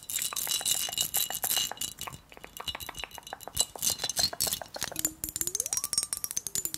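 Long acrylic nails rapidly tap and scratch the glass body of a medium, clear, hollow glass mason jar that is partly filled with water and held in the hands. A dense stream of quick, bright clicks and clinks with very short ring sits over a hissy scratching wash. Near the end, a faint gliding tone rises from about 300 Hz to about 1.2 kHz and then falls back.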